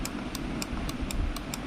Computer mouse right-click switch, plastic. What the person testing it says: यह हार्ड हो चुका थोड़ा सा